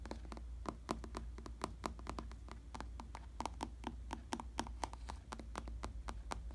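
Fingertips tap and scratch a solid, padded black vinyl/synthetic leather bicycle saddle, producing a quick, irregular series of short, dry taps over a steady low hum. Light scratching fills the gaps between the taps.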